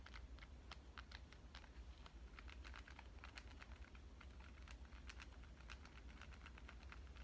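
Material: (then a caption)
Glass. A black, hand-sized smartphone of glass and metal, with a glass screen and back, is held in one hand and tapped on its back and edges by long, dark-painted fingernails. The result is a quick, irregular run of soft, bright clicks over a steady low hum.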